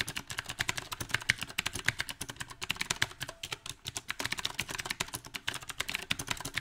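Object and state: Mechanical keyboard with round plastic keycaps.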